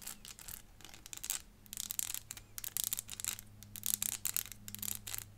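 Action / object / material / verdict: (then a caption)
tap / small clear plastic elephant puzzle / plastic / none. Long fingernails tap on the body of a small, hollow, clear plastic 3D crystal elephant puzzle, making a rapid, uneven series of bright, crisp clicks. Each tap dies away almost instantly, over a faint steady low hum.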